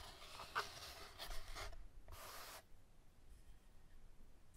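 Fingertips with manicured nails press and rub a long, flattened, hollow, empty brown cardboard paper towel tube with tape bands flat against a beaded mat, then lift and handle it. Bright, papery bursts of rubbing and light scratching fill the first couple of seconds. Softer, quieter handling noise follows.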